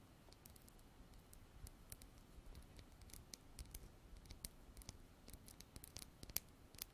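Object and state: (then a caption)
Small glass bottle with plastic pump. A small clear glass bottle with a white plastic pump top, held in both hands, is tapped and scratched with long black artificial nails. Quiet, sharp clicks and brief scratches ring out in an irregular series, each bright tick dying away almost instantly over a low, soft rumble.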